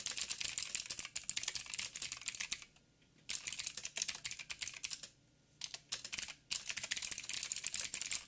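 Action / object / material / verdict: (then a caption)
tap / mechanical keyboard with plastic keycaps / plastic / none. Fingertips of both hands type on a backlit mechanical keyboard with black plastic keycaps on a silver frame and a hollow housing. Quick, bright, clicky key taps come in rapid bursts, with two brief pauses near 3 and 5 seconds. The taps are crisp and dry with almost no low end.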